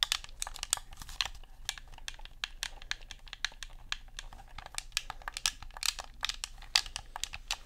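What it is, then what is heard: Plastic game controller. Fingernails tap and buttons click on a black Xbox controller of hollow plastic, close to the microphone. The result is a rapid, irregular stream of sharp, dry clicks that are bright and high. A faint low hum sits underneath.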